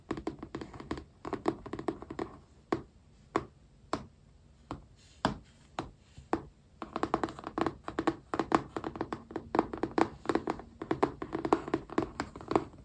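Fingertips and nails tap and scratch over glossy vinyl stickers covering a yellow spiral notebook. Short, dry, quickly fading taps come in busy clusters, thin out to a few sparse taps in the middle, then return with dense tapping and scratching toward the end.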